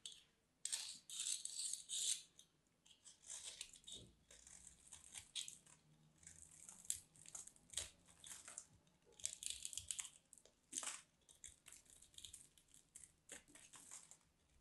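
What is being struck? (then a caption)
Bar of soap. A solid white dry bar of soap is scraped with a craft knife blade, producing crumbly shavings. Bright, crisp scraping and crackling strokes come in uneven bursts with short pauses between them, with almost no low end.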